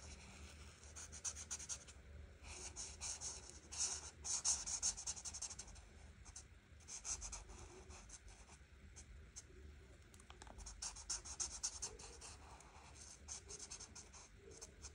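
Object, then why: Marker tip on paper coloring page. An art marker tip is stroked back and forth over a flat paper coloring book page. The result is a quiet, bright, scratchy rubbing, like writing, in uneven bursts of short strokes.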